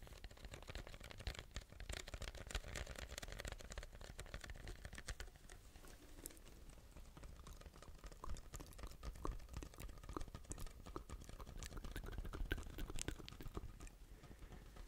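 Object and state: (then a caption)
Paper drink cup with plastic lid. A large, hollow white paper drink cup with a plastic lid and straw is turned in the hands and tapped and scratched with fingernails close to the mic. It gives a dense, steady run of quick, dry clicks and scratchy rasps over a low, thumpy body, with each tap dying away almost at once.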